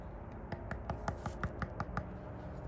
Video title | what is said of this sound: DRY POUR vs WET POUR | Pretty much sounds the same, but this got a little bit, some would say, yo, that sounds hollow. No, that's not hollow.